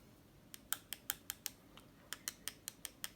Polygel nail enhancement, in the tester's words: that's a bit of clicky sound it's not you don't have you seen dullness